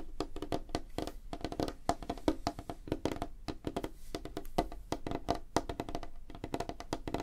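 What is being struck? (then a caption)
Light wooden tabletop. Fingertips and nails of both hands tap fast on a flat, solid, light wooden tabletop. The result is a rapid, uneven stream of short, dry knocks with a hollow woody tone around 312 Hz that die away almost instantly, with little high-end brightness.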